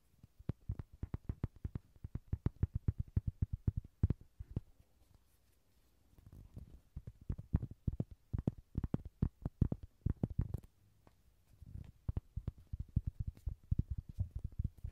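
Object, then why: Small hollow soft-vinyl toy horse. A small, yellow, hollow soft-vinyl Rody horse toy, held in hand next to the recorder, is tapped and scratched with fingertips and nails. Rapid runs of dull, low, muffled thumps come in three bursts, separated by short quiet pauses. Each tap is short and dry, with no ring.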